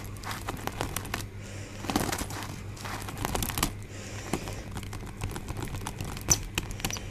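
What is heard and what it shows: A rainbow-coloured pleated paper hand fan with a white scalloped base is held close and fingered with fingertips and nails. Its folded paper gives off quick, bright crinkles, taps and rustles over a steady low hum, with a few louder crackles scattered through the clip.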